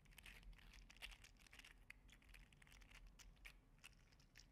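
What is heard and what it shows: A green and teal 3D printed PLA articulated slug toy is held in the fingers and bent back and forth. Its segments give a steady run of quiet, bright plastic clicks and crinkly rattles over a low background hum.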